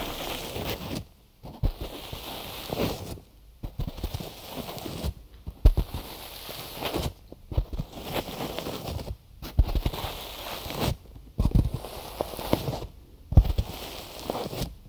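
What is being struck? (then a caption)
Cotton gauze bandage wrapped over a microphone. Fingertips tap and rub on the ear sides of a binaural microphone wrapped in cotton gauze bandage. The result is close, muffled thumps and soft scratchy fabric rustling, mostly low and dull. The sound comes in bursts of a second or two, separated by brief near-silent pauses.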